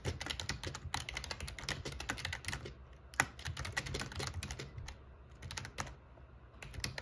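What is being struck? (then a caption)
Plastic membrane keyboard. Fingertips of one hand type on the black plastic keycaps of an RGB plastic membrane gaming keyboard with a metal plate. Quick, clacky key presses come in bursts of bright, sharp clicks over a soft low thud, with one louder strike just after three seconds and lighter, sparser tapping in the later pauses.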